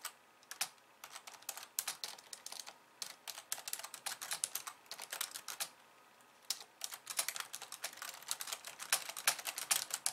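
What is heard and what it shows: Long nails type fast with both hands on a pink plastic slim keyboard with white keys, producing rapid bright, dry clicks with almost no low end. A brief pause comes just past the six-second mark before the quick tapping resumes to the end.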